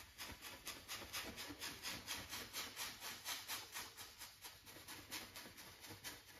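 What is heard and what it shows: A wide flat brush rubs in short strokes across stretched cotton canvas on a wooden frame, set on an easel with hollow space behind the fabric. It makes a steady, rhythmic, bright scratchy swishing at about two strokes per second, with little low end.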